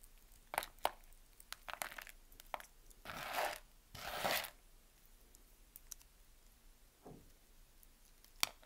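A small knife cuts into the scored surface of a solid, dry, palm-sized green bar of soap held in the hand, flaking off small cubes. Sharp, crisp clicks and snaps are scattered throughout, with two longer, bright crunching scrapes in the middle. The sound is dry and close, with very little low end.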